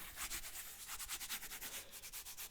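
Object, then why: Suede sneaker upper. Something rubs and scratches the shaved, suede-like upper of a Nike Air Force 1 sneaker, a material unlike the smoother leather of a similar pair. It makes a soft, dry, sanding-like scrape of repeated short strokes, bright and hissy in the upper frequencies.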